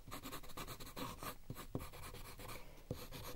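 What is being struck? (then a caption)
Paper sheet with wooden coloured pencil. A wooden coloured pencil with a red lead, held at the fingertips, rubs and scratches across a thin white sheet of paper lying flat on a white table while drawing a pink outline. Quiet, dry scratching strokes come in quick repeated bursts, with a few sharper, thumpier taps standing out.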